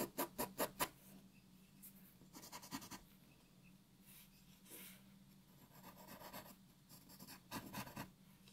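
A graphite pencil shades a white paper sheet resting on a wooden table with rubbing strokes. Five quick, sharp scratches open the clip, followed by bursts of softer, bright rasping strokes over a faint steady low hum.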